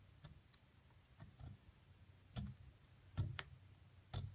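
A metal seafood pick scratches and chips at a solid white plaster excavation block lying flat and held steady by one hand, prying loose plaster chunks around a buried mummy figure. Seven short, irregularly spaced clicks are heard, each with a brief bright crack over a low, dull knock that dies away quickly against a quiet background.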